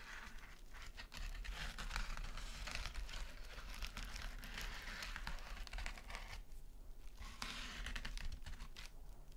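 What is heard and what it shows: Long nails scratch and tap quickly on a small, flat gold metallic mesh scouring pad resting on a sequin mat. The result is a dense, continuous crinkling rustle full of tiny bright ticks over a steady low rumble, briefly thinning out around the seventh second before picking up again.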